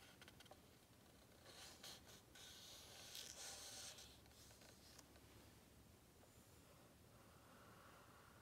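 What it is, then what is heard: Matte paper book page. A single fingertip taps and traces across a plain lilac matte paper page of a large hardcover book, open on its "Chapter 1" spread, over the printed chapter number. The sound is a quiet, bright, dry scratching and rustling with soft taps, swelling into louder brushing strokes in the middle before settling back to a faint steady rub.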